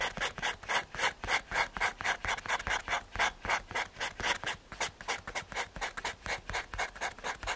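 A paper blending stump is rubbed back and forth over a graphite drawing on a small, flat, solid brown MDF/hardboard drawing board. The result is a steady run of dry, raspy scrubbing strokes, about four per second. Each stroke is a short, bright hiss with almost no low end.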